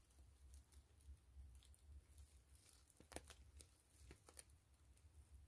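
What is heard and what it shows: Long fingernails scratch a gray PVC grid-mesh zipper pouch held upright and hollow, making soft, crinkly plastic scratching with scattered sharp, bright ticks. A faint low rumble sits underneath the quiet, close scratching throughout.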